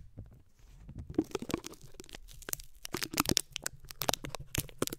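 Fingertips and short nails of both hands scratch and tap the bare, hollow, round metal mesh grille of a condenser microphone. Quiet, dry scratching builds into dense, crackly rustling with sharp, bright clicks and brief tearing-like scrapes over a faint low rumble. The taps stop dead with almost no ring.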